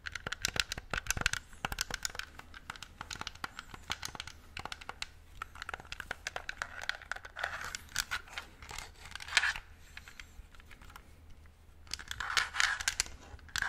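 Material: Plastic.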